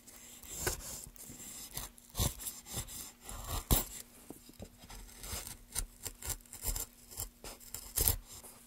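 Gloved hands scrape and carve a solid, light wooden plank with a metal gouge held in a wooden handle. Irregular rasping strokes come in short bursts, some sharp and bright, over a faint steady low hum throughout.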